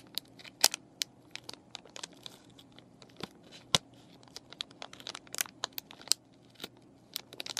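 Fingernails and fingertips crinkle and scratch the clear plastic of a plastic and cardboard paintbrush package, with the brushes inside and the plastic partly lifted. Many short, bright, dry crackles and taps come in an uneven stream over a faint low hum.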